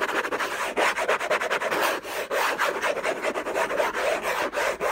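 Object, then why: Cardboard box with textured paper covering. Fingertips and short nails scratch fast and hard across the lid of a closed, long rectangular orange Hermès cardboard box covered in textured paper, contents unknown, lying on a fluffy blanket. The result is a dense, steady rasping scrape, mostly in the mids with a bright edge, broken by brief dips between strokes and with no low end.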